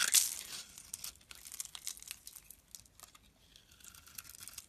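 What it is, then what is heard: Bar soap being carved. A solid, palm-sized green bar of soap is held in the hand and carved into chips and slivers with a metal blade. A loud, bright scrape opens the clip, followed by a run of quieter, crisp, crackly cuts and shaving sounds that sit almost entirely in the high range with no low end.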